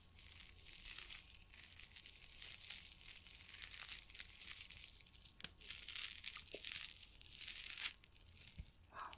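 A small orange reusable hand warmer pouch of soft PVC plastic, printed "Chaleur Express" and filled with gel, is held in both hands and squeezed, crinkled and scratched with fingertips and nails. A quiet, continuous, bright crinkling and scratching texture is heard, with short sharp crackles scattered throughout.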